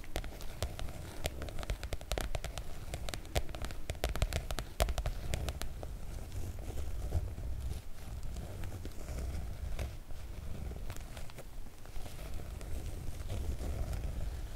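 Fingertips and long nails of both hands tap and scratch the surface of a floral PVC-coated oilcloth make-up bag. The result is a steady run of sharp, crackly clicks and rustling scratches over a dense low rumble, with some brighter ticks standing out.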